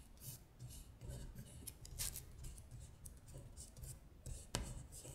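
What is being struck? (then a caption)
Paper sheet. Long nails trace, scratch and rub across a paper worksheet listing the months in Korean as it slides over a glittery surface. The soft, dry scratching comes in bright, brushy bursts over a low rumble, with one sharper tick near the end.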